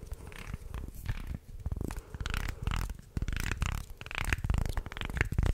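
A wooden segmented shark toy is held in both hands and bent so its articulated segments creak and click, while fingertips rub along its ridges. The result is a dense, irregular run of short dry clicks and scratchy creaks with a heavy low-end rumble and little high content.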